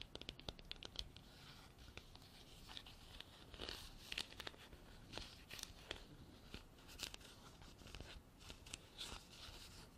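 Long black artificial nails tap and scratch a hand-sized, hollow, white frosted textured hard plastic container that appears empty and is held in the hand. The result is a quiet run of quick, bright, clicky taps mixed with dry, scratchy rasps that stop almost instantly with no ring, over a faint low background rumble.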